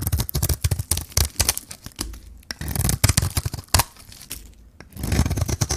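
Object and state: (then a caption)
Dry bar soap being shaved. A hand-held solid bar of white dry soap with a pink coating is peeled and shaved by a metal blade. The result is a rapid series of dry, crisp scraping and tearing strokes with crunchy, crinkling bursts that reach bright highs. Short pauses separate the bursts.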